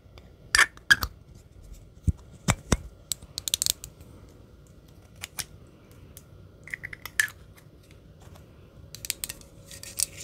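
Long green acrylic nails tap and scratch along the body of a small, hollow, gold metallic spray can or bottle with a white label and a silver cap, held in the hand close to the microphone. Irregular sharp, bright clicks with a brief metallic ping around 1.6 kHz die away almost at once, separated by quiet gaps. Near the end, airy, high scratching brushes take over.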